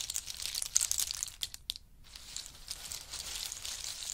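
Fingers of both hands rummage through and stir a heap of pistachios in their hard shells, making a dense, bright clatter and crinkle of shells. The rattling is sharpest in the first second and a half, drops to near quiet for a moment, then continues as a softer, steady shuffling.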